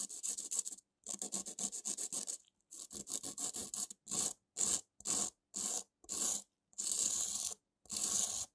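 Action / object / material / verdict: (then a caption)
scrape / foam-core emery nail file / emery / none. Gloved fingers rub a small white model tooth back and forth across a long, curved foam emery nail file with a grey abrasive surface over a foam core, lying on a dark table. The result is a dry, bright, hissy filing and sanding rasp with almost no low end. It starts as quick, choppy strokes in clusters and then becomes slower, separate, longer rubbing passes with brief silences between them.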